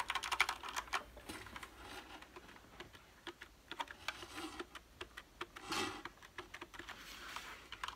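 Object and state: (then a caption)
Plastic mechanical keyboard. A full-size black plastic mechanical gaming keyboard with a cable and a solid body has its keys tapped and typed with the fingertips. The result is a quick, irregular run of short, bright, clacky keystrokes with almost no ring. A softer shuffling sound follows as the keyboard is lifted and tilted in the hands.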